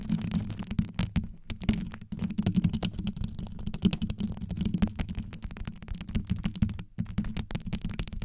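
Long yellow nails scratch and tap rapidly across a rhinestone-studded microphone grille, first from above and then from the sides. The result is a dense, continuous stream of deep, muffled scratches and clicks, heavy in the low end around 200 Hz, with brief gaps between bursts.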